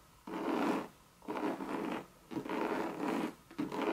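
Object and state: Coated canvas bucket bag scratched with nails.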